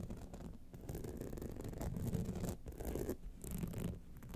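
Long nails scratch the sides and lower jeweled clasp of a gold rhinestone-studded clutch wallet. The result is a steady, dense, low rough scratching with brief bright bursts.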